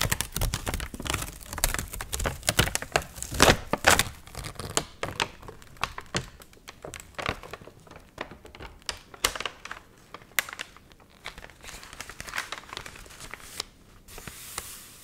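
A dried, water-wrinkled paper magazine, open to a recipe page and held up in both hands, is bent and crinkled with fingertips and long nails. Dense, bright crackling and crumpling fills the first few seconds, then thins into sparser, quieter crinkles and sharp snaps through the rest of the clip.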